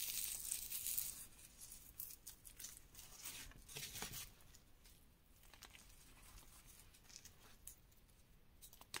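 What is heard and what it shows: Bare fingertips and palms press, squeeze and rub a loose, dry pile of reformed gym chalk powder and crumbs dyed green and pink. Bright, dry crunching and crumbling bursts come in a loose, uneven rhythm. The sound is loudest in the first second, then settles into quieter, softer crumbling.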